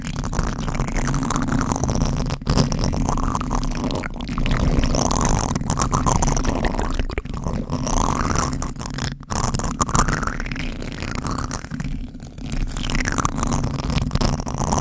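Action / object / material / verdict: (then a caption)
scrape / foam microphone windscreen / foam / none. Fingertips of both hands scratch a black foam windscreen on a microphone. The result is a steady, dense, low rumbling scratch with little brightness, broken only by a few brief dips.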